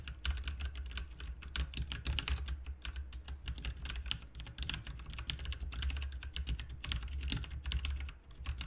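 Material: Plastic.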